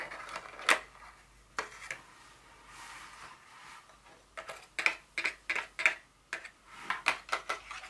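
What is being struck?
Small empty cardboard box.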